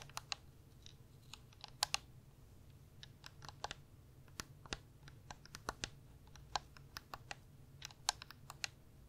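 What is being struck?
Plastic gaming controller.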